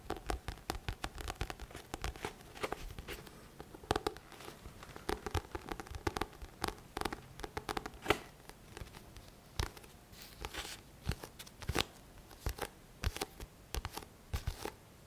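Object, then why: Thick paperback book, card cover. Fingertips of both hands tap and scratch the front cover of a thick paperback book. Quick, dry taps come in uneven bursts over soft scratching, each tap short with almost no ring. The sound stays close and papery with a faint low thud.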